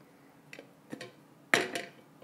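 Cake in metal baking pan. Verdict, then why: Loose. A warm gluten-free chocolate garbanzo bean cake is flipped out of its baking pan, giving a few light knocks and then one louder, sharp bright thud with a short ring as it drops loose. The cake comes out whole.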